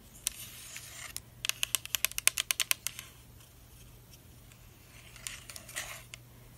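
Long black acrylic nails tap along the body of a medium-sized, translucent pink Soo'Ae Rose Mist facial mist bottle with a black cap, made of hollow plastic and partly filled with liquid. Sharp, bright, dry clicks fall in a quick run through the middle, with softer scattered taps and light scratchy strokes before and after, over a faint steady low hum.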